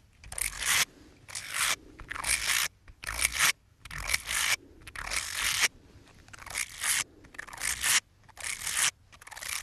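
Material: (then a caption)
Silicone. Small, hollow, light-blue ribbed silicone finger brush sleeves are rubbed and squeezed together between fingertips. This makes repeated bursts of bright, dry scraping and crackling rustle. Short quiet gaps separate the bursts in an uneven rhythm.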